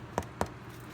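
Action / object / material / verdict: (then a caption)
tap / bread loaf / bread / done. Two quick, hollow taps on the bottom of a freshly baked bread loaf, checking whether it is done. The dull knocks ring briefly and sound hollow, showing the loaf is baked through.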